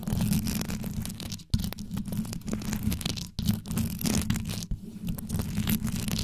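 Long yellow nails scratch quickly across the rhinestone-covered grille of a metal microphone, their tips moving over the rows of stones. The result is a dense, continuous scratching rumble that is mostly deep and low, with crackly texture on top. It drops out briefly three times before starting again.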